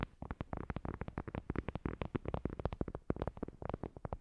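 Long glossy nails rapidly tap and scratch a thin, solid, flat heart-shaped paper board coaster with a printed white surface. The result is a fast run of short, dry, low clicks and scrapes with almost no ring.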